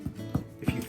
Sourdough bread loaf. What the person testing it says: if you thump the bottom of it, you hear like a hollow sound to it